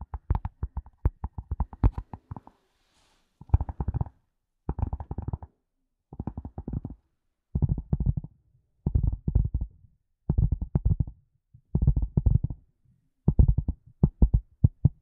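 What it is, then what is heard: Leather glasses case. Long fingernails tap and scratch on a grey, rectangular, hollow leather glasses case. Short, dull, low-pitched taps come in quick bursts separated by brief pauses. A faint hiss of scratching is heard between them.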